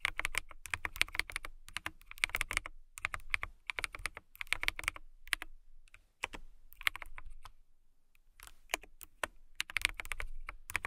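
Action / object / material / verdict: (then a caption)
tap / acrylic mechanical keyboard / acrylic / none. A transparent acrylic mechanical keyboard is typed on with long nails and fingertips in bursts of rapid, bright, clacky keystrokes. Each click is sharp and dies away instantly, with a low thump under the stream and short pauses between runs, including a near-silent gap about two-thirds of the way through.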